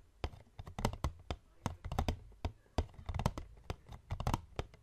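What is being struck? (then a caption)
Paperboard box. Fingertips and short nails of both hands tap and scratch the top of a hollow medium white paperboard box resting on a wooden table. It gives a quick, uneven run of short, dull, hollow thuds, deep and low with almost no brightness, each dying away instantly, with faint scratching between taps.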